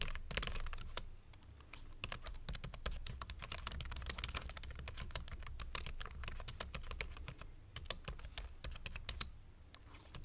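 Fingertips type quickly on a white plastic full-size mechanical keyboard resting on a wooden board. The keystrokes come as a dense, steady stream of short, bright clacks over a low thump, each stopping almost instantly, with brief pauses in the rhythm.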